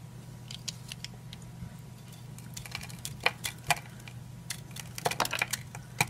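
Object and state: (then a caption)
Dry soap bar. A utility knife blade cuts and shaves flakes from a solid, hand-sized oval green bar of old dry soap held in one hand, with repeated short scraping cuts. Each cut makes a crisp, bright, dry tick or scrape that dies away almost instantly. The strokes come in irregular bursts over a steady low hum and grow louder and denser toward the end.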